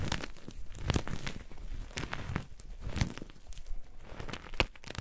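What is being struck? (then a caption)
Chunks of gym chalk (magnesium carbonate). Gym chalk (magnesium carbonate) chunks and powder are squeezed and crumbled in both hands with painted nails, producing dense, crunchy crinkling and tearing-like crackles. Short dry bursts with a deep low thud under them and brief bright snaps sit over a soft, continuous gritty rustle.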